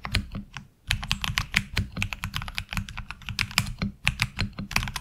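A tenkeyless HyperX Alloy Origins Core mechanical keyboard with ABS keycaps is typed on with the fingertips of both hands. It gives a fast, steady stream of sharp, bright clacks over a low thocky body, with a brief pause near the one-second mark. Each keystroke is dry and dies away almost instantly.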